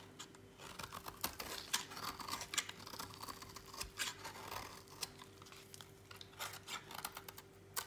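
A utility knife blade shaves a solid orange slab of dry bar soap over a pile of shavings, making quiet, bright, crisp scraping and cutting strokes with short sharp snaps. A faint steady low hum runs underneath.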